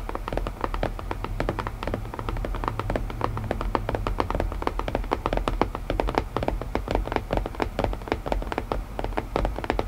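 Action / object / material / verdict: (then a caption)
tap / wooden puzzle box / wood / none. Fingertips tap steadily and quickly on a wooden puzzle box, making many short, dry knocks that die away almost at once. The taps sit over a low, constant rumble, with each hit's body in the low-mid range and only faint high detail.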